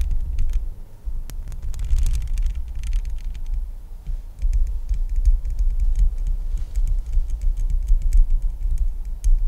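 Long acrylic nails scratch and tap the hollow metal mesh grille of a Blue Yeti X microphone, then move down to tap its metal body near the base. The result is a heavy low rumble with a main pitch around 70 Hz, overlaid by a dense run of short, quick-decaying ticks and scratches that flicker up into the highs.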